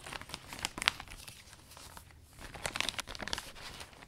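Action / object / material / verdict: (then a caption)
scrape / vinyl umbrella canopy / vinyl / none. Hands fold and smooth the loose butterfly-print vinyl canopy of a new umbrella, crinkling it. Bright, dry crackles and rustles come in irregular bursts with a few sharper snaps, and nothing rings after them. The handling quiets briefly in the middle, then the crinkling picks up again.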